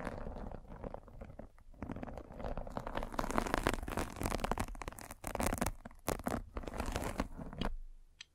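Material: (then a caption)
Fabric mesh. A metal-spiked derma roller is rolled over a white fabric mesh net stretched over a round microphone head, scratching the net. It makes a dense, continuous crackling scratch with a heavy low rumble, rising and falling in bursts before stopping abruptly near the end with a faint last tick.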